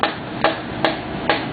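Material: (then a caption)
Metal. A piston and rod for a 383 stroker short block are tapped gently into the cylinder bore of the engine block with a hammer. Four short, dull taps sit at evenly spaced intervals and die away quickly. The dead sound shows the piston is fully seated and needs no more tapping.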